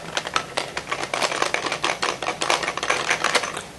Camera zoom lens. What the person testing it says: if you shake it slightly you can hear something rattling around inside